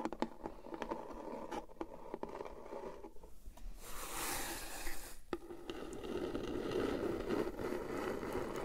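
Long painted acrylic nails tap and scratch the flat sides of a small, hollow, brown printed cardboard MugSafe mug box, held upright in both hands over a fluffy surface, with its contents not visible. Quick, dry, irregular taps come first, then a brighter, hissy scrape midway. The clip ends in a steady, low, papery scratching.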